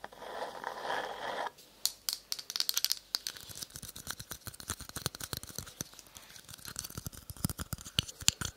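A small, hollow, empty green polka-dot paper cup is held close to the microphone and scratched and tapped with long nails. It opens with a steady, rasping scratch, then breaks into a rapid run of dry, bright clicks and light taps with almost no ring.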